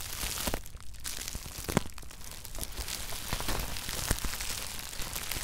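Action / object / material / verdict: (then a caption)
scrape / plastic bubble wrap / plastic / none. Fingers squeeze a loose sheet of clear plastic bubble wrap resting on top of a red shoebox, popping the bubbles. The result is a dense run of crinkling with sharp, bright snaps scattered through it.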